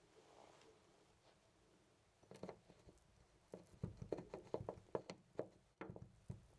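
A loose brass-finish metal door knob on a white panel door is gripped by the fingertips and jiggled so it rattles in its mounting. After a quiet start, short, dry metallic clicks and knocks come in irregular bursts, with a mid-pitched tick and a low thud beneath.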